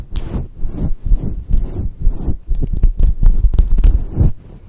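Long acrylic nails scratch and rub a hand-sized, fluffy grey-white faux fur microphone windscreen with both hands; the synthetic fur cover sits softly over a foam core. This makes a rapid, irregular run of deep, muffled, rumbling scratches and thumps, with faint bright rustles on some strokes.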